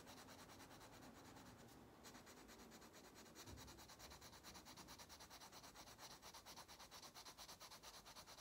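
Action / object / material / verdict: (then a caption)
scrape / wax crayon on a paper coloring book page / paper / none. An orange wax crayon held in the fingers rubs vigorously back and forth across an open paper coloring book page lying flat on a table, coloring in the fish. The result is a steady, bright scratchy rasp that grows into clearly pulsing strokes at a quick, uneven rhythm.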